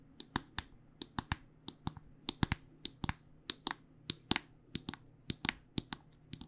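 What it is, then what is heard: Plastic lotion squeeze tube. A white plastic body butter squeeze tube with a pink cap is held upright and tapped with long nails. About 25 sharp, dry, bright clicks come in a quick, uneven rhythm, each dying away almost at once, over a faint steady low hum.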